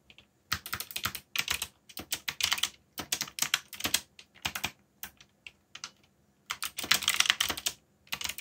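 Fingertips type on the keys of a backlit black plastic mechanical keyboard. The clip is a run of bright, crisp, short clicks in quick bursts, separated by brief pauses, with almost no low end.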